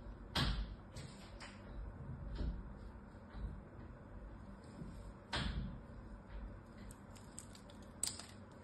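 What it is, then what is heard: Bar of soap being scraped and cut. A small knife scrapes and cuts a solid blue bar of soap with a net-pattern surface, held in the hand. Sharp, bright scraping clicks and crisp cuts stand out over a low, steady background rumble. The strongest strokes land near the start, midway and near the end.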